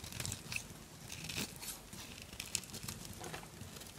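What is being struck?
Bar of soap scraped with a knife.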